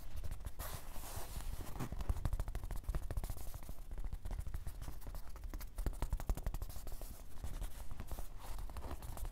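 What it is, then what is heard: Canvas fabric fanny pack. Fingertips tap quickly and scratch lightly on a dark grey canvas cloth fanny pack resting on a table, ending with the hand on its side. Dense, soft, dull thuds and scratchy rustles run continuously, with most of the sound sitting low and muffled.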